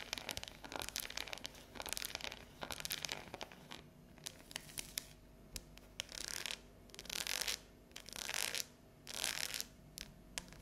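Long neon-yellow natural nails tap and scratch a solid, unwrapped dark chocolate bar with a ridged square pattern lying on a table. Quick, crisp clicks mix with dry, hissing scrapes, and several longer scratching bursts come in the second half, all bright and high-pitched with almost no low end.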